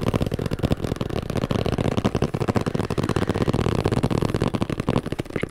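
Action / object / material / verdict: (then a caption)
tap / plastic protein powder tub / plastic / none. A large orange plastic protein powder tub with a black lid, hollow and possibly partly filled with powder, is held close to the mic and rapidly tapped and scratched with fingertips and nails. The result is a fast, uneven stream of dull, hollow thuds with a low body and short decay, mixed with soft scratching.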